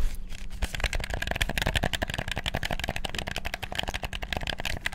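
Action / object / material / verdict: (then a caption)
tap / plastic game controller / plastic / none. Thumbs and fingers rapidly bash the buttons of a black, hollow, PS4-style plastic gamepad, producing a dense, continuous stream of sharp plastic clicks with bright top. Underneath runs a steady low hum.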